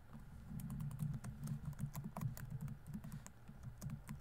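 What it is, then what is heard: Plastic laptop keyboard. Fingertips rapidly tap the plastic keys of a laptop keyboard on a grey laptop body while typing. It produces a steady, quick patter of soft, low, muffled clicks with short, dry decays and faint sharper ticks on some keystrokes.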